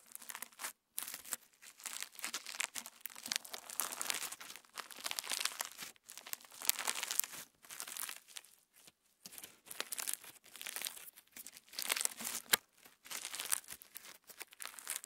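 Clear slime with plastic star sequins is pulled apart and stretched into a band by fingertips close to the microphone, giving dense, bright crinkling and crackling with no low end. The sound comes in bursts separated by short silent gaps, each made of many tiny, dry clicks.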